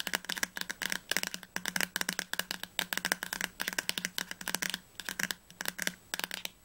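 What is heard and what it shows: Fingertips and nails tap fast on the glossy spine of a solid teal hardcover novel, "Das Labyrinth erwacht," held upright. Dozens of quick, dry, bright clicks come in uneven bursts with short pauses, each dying away almost instantly and leaving little low end.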